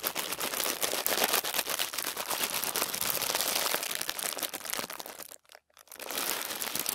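A large, thin tissue paper sheet laid on a table is gathered and crumpled under both palms and fingers, then smoothed flat. Dense, bright crinkling and rustling runs almost continuously, then breaks off for a brief near-silence just past five seconds. The crinkling resumes until the end.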